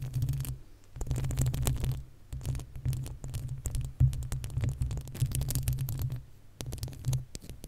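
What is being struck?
Metal mesh microphone grille.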